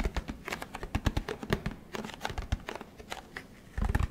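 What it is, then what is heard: Plastic detergent bottle, fingertip taps. Fingertips tap the plastic sides and cap area of a large orange plastic Tide detergent jug held close to the microphone. A rapid, uneven series of short, dry, hollow taps with a deep low thump and almost no ring, ending in a denser, louder cluster of taps.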